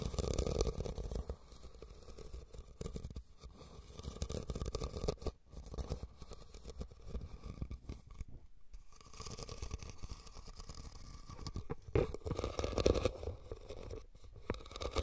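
Fingernails scratch the sides of a hollow, red woven rattan cylindrical basket as it is held and tilted. The sound is a steady, dry, raspy scraping with a low, hollow body and a midrange tone, briefly pausing around eight and a half seconds. Louder, rougher bursts come at the start and again near the end.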